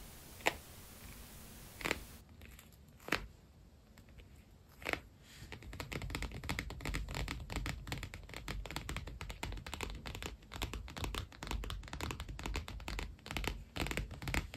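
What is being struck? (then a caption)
Padded faux leather planner cover. A padded iridescent holographic PU leather binder planner is tapped and scratched by fingertips and nails. A few sharp isolated taps ring out over a quiet hiss in the first five seconds. Then a dense stream of rapid scratching and tapping continues to the end.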